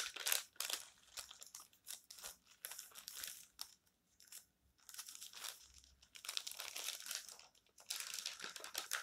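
Hands crinkle and fold a page of an open printed paper magazine on a table, turn it, and rub it flat with their fingertips. Dense, bright, papery crackles and rustles come in bursts, with short quieter gaps and almost no low end.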